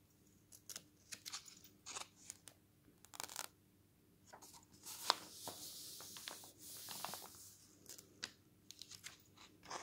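A glossy paper magazine lies open on a table while a palm rubs and smooths a page, then fingers lift and turn the thin coated page. The sound is a quiet series of short, bright paper crinkles and scratches, with a longer swishing rustle in the middle as the page sweeps over.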